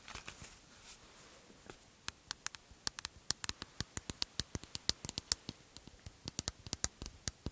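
A medium aluminium aerosol spray can with black and blue print and a plastic cap on top, hollow and pressurised, is held in one hand in front of a microphone while the long nails of the other hand tap and scratch along its body. Soft, faint scratching opens the clip, then gives way to a quick, uneven run of sharp, bright, very short clicks. Each tap is crisp with almost no ring.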